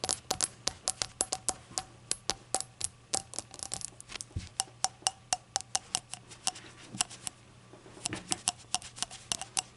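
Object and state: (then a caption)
Glazed ceramic shot glass. Long acrylic nails tap the body and open rim of a small, hollow, empty rainbow-glazed ceramic novelty shot glass resting on a towel. Around 42 quick, bright clicks come in an uneven rhythm, each with a faint tone near 766 Hz. Every tap dies away almost instantly, with little low end beneath.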